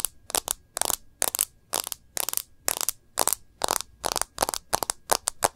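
Long nails tap and trace along the edge of a plastic bumper case and across the screen of a smartphone. The result is a steady run of short, crisp, bright clicks and scratchy strokes with almost no low end and no ring after each touch.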